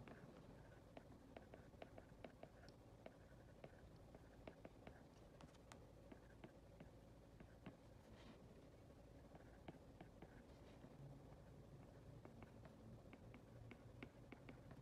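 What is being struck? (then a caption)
Glass tablet touchscreen tapped with a plastic stylus. A plastic stylus tip taps and scratches across the glass touchscreen of an iPad while handwriting a bills list, with long red nails held close to the surface. Quiet, sharp, dry clicks from the tip land over a soft, steady scratching and low background hum. Each tap dies away almost instantly.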